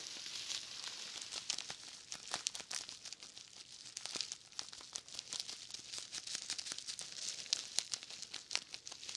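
Fingertips press and rub the surface of a large plastic bubble wrap roll with a green label, held in both hands. The result is a steady, quiet crinkling made of dense, dry, bright clicks and crackles with almost no low end.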